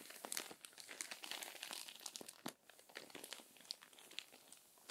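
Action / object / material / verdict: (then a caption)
scrape / paper magazine pages / paper / none. Long-nailed hands smooth the crinkled pages of an open, crumpled paper magazine and turn one. The result is a dense run of bright, crisp crinkles and rustles, with a sharper crackle around the middle as the page turns, followed by quieter, scattered crinkling.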